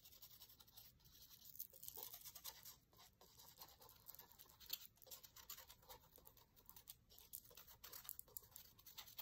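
A thin wooden skewer scratches and traces along the lines of printed text on an open paper cookbook page. The result is a quiet, steady run of bright, hissy scratching strokes with very little low end, each stroke short and dry.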